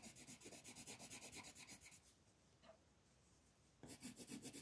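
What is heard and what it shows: A black colored pencil tip rubs a thin, flat paper coloring page in dense, fast shading strokes, giving a rapid, rhythmic, bright scratchy rasp. The strokes stop for about two seconds of near silence, then resume at the same quick pace.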